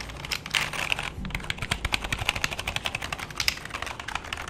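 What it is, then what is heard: Plastic computer keyboard being typed on. A full-size black plastic keyboard with a hollow body is held in both hands, and fingertips then type on its keys. A brief scratchy, rustling stretch gives way to a rapid run of crisp, bright, clacking key taps with a faint hollow low thump beneath them. Each tap stops almost instantly.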